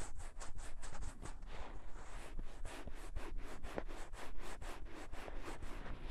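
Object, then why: Silicone ear of a binaural microphone. Fingertips and nails rub and scratch the soft silicone ear of a gray binaural dummy-head microphone. The result is a close, steady run of quick, repeated scratchy strokes with a low, muffled rumble underneath and brief brushing hiss on each pass.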